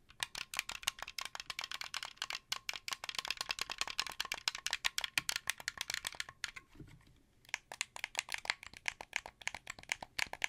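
A translucent blue, hand-sized, hollow plastic wired Xbox 360 controller is rotated in the hands while fingertips click and press its buttons and sticks. Dozens of rapid, bright, rattly plastic clicks ring out, with a brief lull near the seven-second mark before the clicking resumes.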